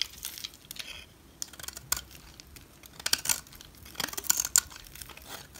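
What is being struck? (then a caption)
Bar of soap. A utility knife blade carves thin curls off the edge of a solid orange bar of soap held in the hand. Short, crisp scraping and crackling bursts come in irregular clusters, almost entirely bright and high with hardly any low end, and each cut stops dead with no ring.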